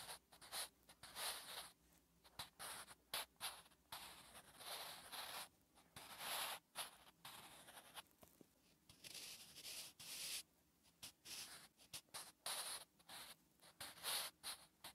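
A wooden graphite pencil writes Korean letters on a flat, solid lined paper notebook page. Short, bright scratching strokes come in quick bursts with brief pauses between them.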